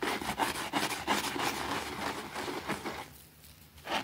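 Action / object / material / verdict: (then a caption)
scrape / fabric rug scrubbed with a plastic brush / fabric / none. A white plastic brush scrubs a small, thin, soapy green fabric rug lying on a concrete floor. It makes a quick run of bright, rasping back-and-forth strokes with a wet, hissy texture. The strokes fade quieter for a moment before one last stronger stroke at the end.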